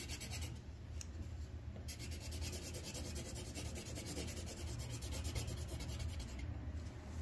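The tip of a green wooden colored pencil rubs in quick strokes across a thin white paper sheet on a clipboard, coloring in a leaf. A steady, dry scratching hiss runs throughout, with a rapid, bright stroke rhythm over a low, dull rumble.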